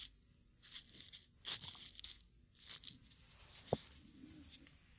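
Dried rose petals in a small, hollow, light wooden mortar are ground and crushed with a wooden pestle held in the fingertips. Quiet, bright bursts of crisp crackling and crunching come in short waves, with one sharp wooden knock partway through.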